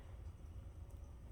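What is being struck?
Nothing is struck.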